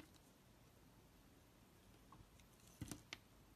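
A utility knife blade scrapes and chips the surface of a solid, oval black soap bar held in a palm. After a quiet, faintly hissing stretch, four short, crisp scraping clicks come near the end, each with a dull low thump and a bright, dry edge that stops almost instantly.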